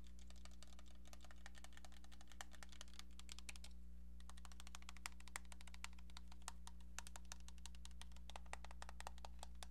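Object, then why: Plastic cordless phone handset. Long painted nails tap rapidly on a hollow, hand-sized pink plastic cordless phone handset with a keypad, making quiet, bright clicking taps. A steady low hum runs underneath, and the tapping pauses briefly near the middle before continuing.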